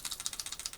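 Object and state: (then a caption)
Plastic toy figure with a loose part rattling inside. A plastic Transformers R.E.D. Soundwave toy robot figure, whose chest cassette door won't stay shut, is shaken with something loose rattling inside. The result is a quick series of light, bright, high-pitched plastic clicks with almost no low end. Whether the figure is broken is left uncertain.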